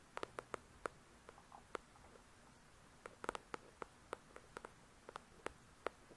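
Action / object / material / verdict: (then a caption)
tap / paperback book with card cover / paper / none. Long pointed nails tap and lightly scratch the glossy card cover of a solid paper paperback novel, "The Shack," up close. About 18 sharp, dry clicks come in loose clusters, each with a woody midrange body and a bright top edge. They die away instantly over a faint, soft hiss of scratching.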